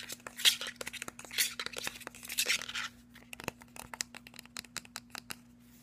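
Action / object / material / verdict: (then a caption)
tap / plastic skincare bottle with metal cap / plastic, metal / none. A hollow white cylindrical plastic skincare bottle with a silver metal cap is tapped and scratched with fingernails on its body and on the top of the cap. The first half is dense, bright, scratchy rustling broken by quick clicks, then it thins out into a series of short, sharp, crisp taps that die away almost instantly. A faint steady low hum runs underneath throughout.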